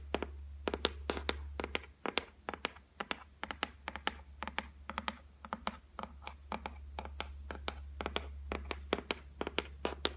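Long nails drum rapidly on the flat top of a white laminated shelf made of solid board, producing quick, sharp, clicky taps with a bright edge and almost no ring. Irregular bursts of tapping sit over a steady low hum that briefly fades out partway through.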